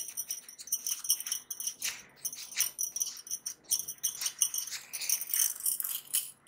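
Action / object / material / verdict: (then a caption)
shake / thin metal bangles / metal / none. A small stack of thin, solid metal bangles held between blue-gloved fingers near the microphone is shaken and jingled against each other, with more bangles worn on both wrists. Bright, high metallic clinks and shimmering jingles come in rapid bursts throughout, with almost no low end and very short ring after each contact.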